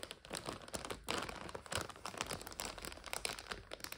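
Both hands press a full, clear plastic bag of dry egg noodles while long nails scratch it, crinkling the bag and crunching the noodles inside. The sound is a dense, bright run of crackly crinkles and short crunches that rise and fall in loudness without pause.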